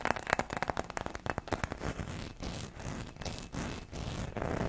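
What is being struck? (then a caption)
Ribbed glass Christmas ornament. Long red nails rapidly tap and scratch across a hollow gold ribbed Christmas bauble, apparently glass, held close to the mic. A quick run of sharp, dry clicks gives way to rougher, steadier scraping bursts over the ridges, with little ring after each contact.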